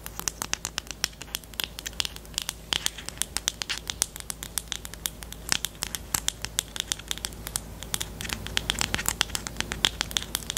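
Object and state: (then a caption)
Plastic highlighter pen. Long teal nails tap and scratch the barrel and black cap of a small, hollow, pastel pink plastic highlighter pen. A rapid, dense stream of sharp, bright clicks sits over a faint, steady low hum, each click dying almost instantly and centered around 3.3 kHz.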